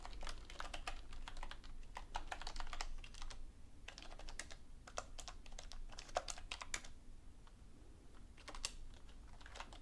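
Both hands type steadily on a black, full-size plastic computer keyboard with hollow key caps resting on a desk, tapping the keys with fingertips and long painted nails. The result is a quick, uneven stream of sharp, bright clicks and clacks that stop almost instantly, over a low, steady background rumble.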